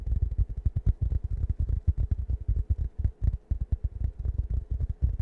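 Fingertips scratch the fabric surface of a round, plush, waffle-print foam cushion held in both hands close to the microphone. The result is a rapid, irregular run of soft, low, thudding scrapes with a throbbing rumble and almost no high or bright content.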